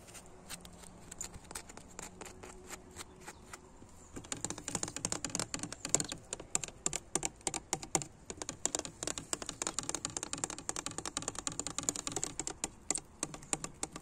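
Fingertips and nails tap on the flat, dirty glass pane of a low basement window set in a painted wooden frame under brick, in an old abandoned house. Sparse, light taps for the first four seconds give way to a faster, denser run of sharp, bright clicks that stop dead with no ring.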